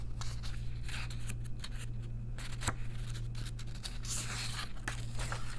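Long nails rest on and brush across a page of a second paper coloring book held open, rubbing and scratching the paper. Short, bright, papery scratch strokes come and go over a steady low hum.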